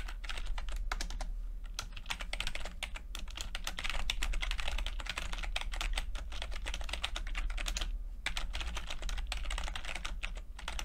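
Fingertips of both hands type continuously on a full-size plastic computer keyboard with red and blue backlit keys and low-profile keycaps. Rapid, crisp key taps run together into a dense, bright clatter with a brief pause around the eight-second mark, over a steady low hum.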